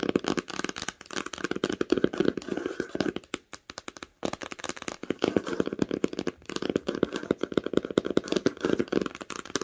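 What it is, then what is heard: Cloth-bound hardcover book. Long pink nails tap fast on the cover of an old, solid, red cloth-bound hardcover book lying flat on a blanket. The result is a rapid stream of dry, short clicking taps with a muted mid-range body and almost no ring. The tapping thins to scattered, sparser taps around the middle before picking back up.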